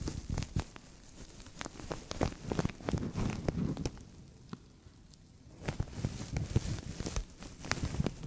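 A translucent thin plastic bag stretched over a microphone is scratched by nails and crinkled by fingertips, giving close, dense crackling and rustling with sharp, short clicks over a low, muffled rumble. The crinkling quiets to a soft hiss for about a second and a half midway, then picks back up with bright, snapping crackles.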